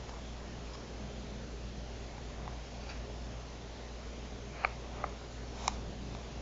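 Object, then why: Plastic TV remote control. Long nails tap and click the buttons of a black plastic TV remote control lying on a mat. Three short, sharp clicks stand out in the second half over a steady low hum, with fainter ticks earlier.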